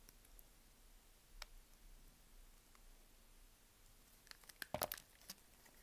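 A small knife cuts and scrapes scored cubes from the top of a solid, dry green bar of soap held in the palm. Faint, scattered scratches build to a cluster of sharp, bright crunches and crumbly snaps near the end. The hits are short, with almost no ring, against quiet background hiss.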